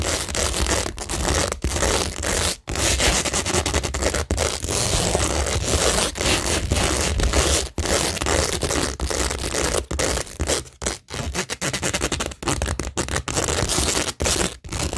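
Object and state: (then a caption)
Plastic rhinestone sheet on cork board, scratched. Long acrylic nails scratch the pink plastic rhinestone mesh section of a flat, framed cork board covered in stick-on rhinestones, with some contact on the rows of pearl stickers beside it. The result is a steady, dense, bright scratching and rasping texture that runs almost continuously, broken by a few brief pauses.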